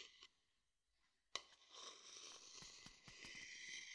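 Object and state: Wooden bowl scraped with a stick.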